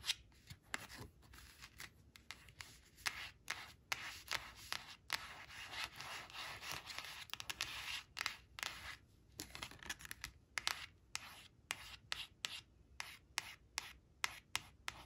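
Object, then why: Coated cardboard picture card. Long nails rub and scratch over a thin, flat, glossy coated cardboard flash card showing a brown crayon, lying on a fabric cloth, while the card is rotated. The result is dry, bright scratching and rubbing, broken up by many sharp, clicky taps that stop dead with no ring, and a denser stretch of continuous scraping in the middle.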